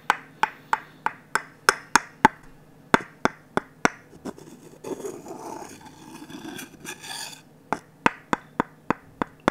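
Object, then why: Wooden ladle tapped and scraped with a wooden stick. A wooden stick taps the empty bowl of a glossy orange varnished wooden ladle in a steady run of sharp, short knocks with a mid-pitched woody ring. Midway the stick scrapes around the bowl in a softer, rasping rub, then the tapping resumes.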